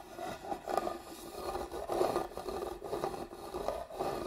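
A hollow hand-carved wooden box is held upright while long nails scratch along the grooves of its carved lid. The result is a continuous raspy, rubbing scrape with a woody midrange tone and repeated swells as the strokes move across the grooves.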